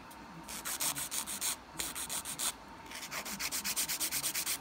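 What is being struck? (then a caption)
Acrylic nail filed with an emery board. A dark-grit nail file (emery board) is rubbed back and forth across the solid surface of a long, coffin-shaped acrylic nail with a peach ombré finish on a hand, raising visible filing dust. About 22 quick, bright, scratchy strokes come in rhythmic bursts, with brief pauses between sets.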